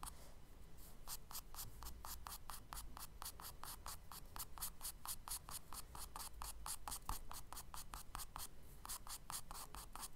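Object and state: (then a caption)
Charcoal hatching on a kraft paper sketchbook page. A charcoal stick scratches quick hatching strokes across the solid surface of a tan kraft paper page in a spiral sketchbook. Each stroke makes a bright, dry, rhythmic scrape over a low, steady rumble, with a brief pause just before the last few strokes.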